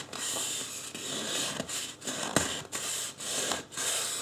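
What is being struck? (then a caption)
Polystyrene foam mannequin head. Fingertips of both hands rub and scratch the scalp of a life-size white polystyrene foam mannequin head with hair drawn on in marker. The result is a dry, bright, hissy scraping that comes in sustained bursts separated by brief pauses, with one sharper squeaky click near the middle.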